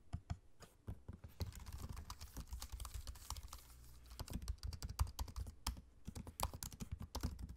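Fingertips type on a MacBook-style laptop keyboard with low-profile plastic keycaps set in a space-grey aluminium body. A steady run of quick, soft, dry taps and clicks sounds over a low hum, with some keystrokes landing harder and brighter than others.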